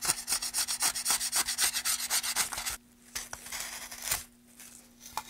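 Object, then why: Wooden board. A small sanding block is rubbed along a long, solid, light-coloured wooden board with a carved channel, held in gloved hands. A fast, steady run of bright, scratchy rasping strokes lasts nearly three seconds, then gives way to quieter, slower, scattered rubs over a faint steady low hum.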